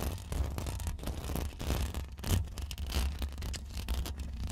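Long acrylic nail tips rapidly scratch the hollow, woven metal mesh grille of a bare Rode NT1 condenser microphone. The result is a dense, continuous rasping with a heavy low rumble that swells and dips throughout, plus faint bright scratchy texture on top.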